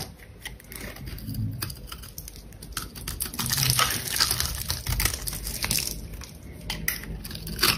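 A metal box-cutter blade repeatedly scrapes and cuts thin flakes from the sides and surface of a palm-sized solid red bar of dry soap held in the hand. The result is a dense run of crisp, bright scraping and shaving strokes with fine crackling ticks over a soft low rumble, swelling in the middle and again near the end.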